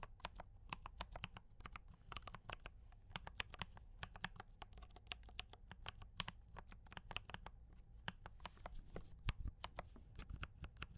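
Both hands type continuously with fingertip taps on a compact D84 mechanical keyboard with brown switches and cream and red plastic keycaps. A steady stream of short, crisp clacks with bright tops decays almost instantly over a low, constant hum.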